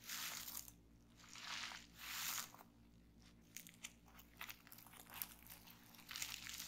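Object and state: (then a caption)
Plastic bubble wrap. A loose sheet of clear plastic bubble wrap on a table is pressed by hands, giving soft, bright crinkling swells, then single bubbles are pinched between the fingers and popped. The second half has short, sharp high pops and crackles over a quiet background.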